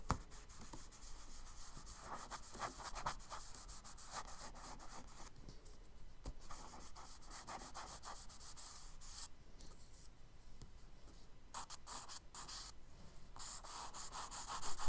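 A charcoal stick scratches lines onto a kraft paper sketchbook page, and fingertips rub and smudge the charcoal across the paper. The result is a steady, dry rubbing and scratching texture with bright, fizzy strokes over a low, soft rumble.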